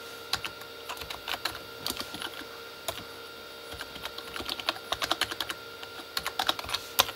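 Both hands tap with their fingertips on a full-size, hollow Corsair K35 backlit keyboard, which has plastic keycaps on a plastic body. Quick, bright, clicky taps come in uneven bursts and pauses, each one short and dry. A faint steady hum sits underneath.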